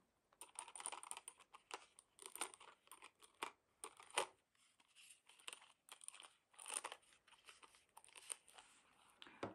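Long painted nails tap and scratch a small card of four gold-toned metal shank buttons mounted on a paper or cardboard backing, held in both hands. The result is a quiet, continuous run of crisp clicks and papery, crinkling scrapes with a bright, high sheen and almost no low end. Each tap dies away almost at once.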